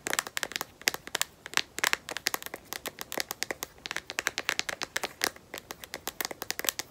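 A smartphone in a solid black matte rubberized plastic case is tapped and scratched on its back with long nails. Quick, dry, clicky taps come in a dense, uneven stream, bright and crisp with no low end and almost no ring.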